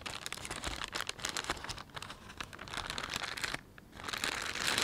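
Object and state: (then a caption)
Plastic shopping bag being crumpled. A thin, empty panda-print plastic shopping bag is crumpled and rubbed by hands, producing dense, bright crinkling with many sharp crackles. The rustling dips briefly quieter near the four-second mark, then builds louder and busier toward the end.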